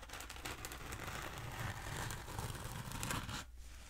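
Long acrylic nails scratch along the textured surface of a long, black, hollow foam pool noodle held diagonally. The result is a steady, quiet, dry rasping and crinkling scratch with bright hiss over a low hum, fading out near the end.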